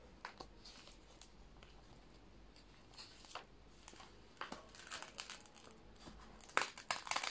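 Fingertips peel up a thin plastic sheet protector holding newspaper clippings in an old binder, where the sleeves lie flat and stuck together from moisture. The palm and fingers then press and rub across it, giving irregular, bright crackling and crinkling. The crackles grow sharpest and loudest toward the end.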